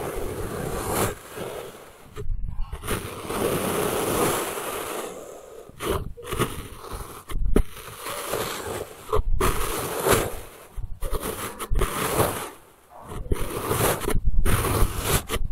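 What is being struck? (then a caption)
Block of packed kinetic sand. A thin blue plastic knife slices repeatedly through a solid, flattened log of pink kinetic sand on a wooden table, cutting the packed sand into layered slabs. Each stroke makes a soft, grainy, low-heavy scrape and crunch, separated by brief quiet gaps.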